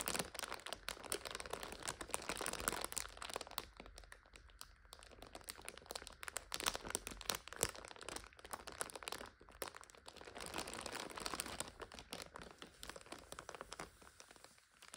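Long nails tap and scratch a full instant noodle multipack lying flat in its plastic overwrap, making it crinkle. The sound is a dense, continuous stream of bright, crackly plastic rustling and small crisp taps, quiet overall, with brief lulls and bursts.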